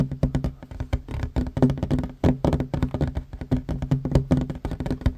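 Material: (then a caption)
Wood. Both hands fast-tap a flat, solid wooden tabletop with short fingernails. The result is a quick, irregular run of short, dull knocks that die away almost instantly. Each carries a low, woody hum and very little brightness.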